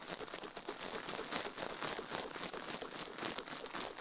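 A toothbrush quickly scrubs a silicone ear microphone resting on a metal plate. The result is a dense, continuous, bright scratchy crinkling with rapid uneven strokes and almost no low end, held at a fairly steady level throughout.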